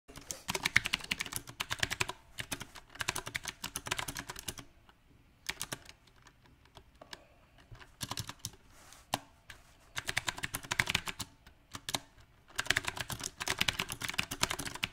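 Both hands type with their fingertips on a compact backlit 68-key Magicforce 68 mechanical keyboard with round black plastic typewriter-style keycaps on a white and silver case. Rapid, bright, clacking keystrokes come in uneven bursts separated by brief pauses, each click short and dry with almost no ring.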